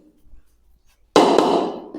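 A ceramic floor tile is tapped, giving a hollow, dull sound. This means there is a gap under the tile because the base was not prepared properly. After a quiet start, a sharp tap at about 1.15 s is followed by a second tap at about 1.4 s, and the mid-range knock fades over the rest of the clip.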